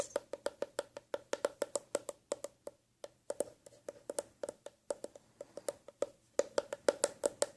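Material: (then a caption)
Leather. An empty, hollow black leather eyeglass case is tapped in quick, uneven bursts, about 36 short, dry knocks with a hollow tone around 570 Hz and almost no ring. The leather deadens the sound somewhat, but the hollowness makes the taps on the sides louder.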